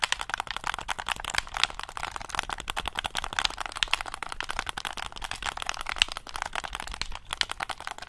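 A black hollow plastic gamepad is held close over the mic while fingertips rapidly press and tap its buttons. The result is a dense, continuous stream of dry, sharp plastic clicks with almost no ring, bright and centered around 3 kHz, with little low end.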